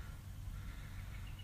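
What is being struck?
Nothing is struck.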